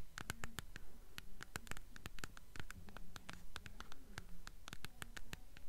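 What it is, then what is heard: Hardcover book spine with paper dust jacket. Long nails tap and scratch along the paper dust jacket on the spine of a blue hardcover book held upright. The result is a quick, fairly steady run of soft, dull taps with crisp, bright clicky edges and papery scratching, each sound dying away almost at once.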